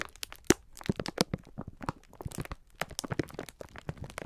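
A clear plastic film pack of sponge scourers is held in both hands while the fingertips squeeze and rub it. The plastic gives off a dense run of sharp, dry crinkles and crackles with short bright snaps over a low thumping rustle. Each crackle stops almost at once.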